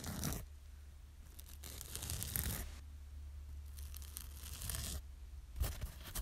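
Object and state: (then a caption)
Kitchen sponge. A yellow foam kitchen sponge with a green scouring side, held in one hand, is scratched with long nails. Bursts of dry, bright, tearing-like rasping come and go over a steady low hum, with the scratching swelling and fading between quieter pauses.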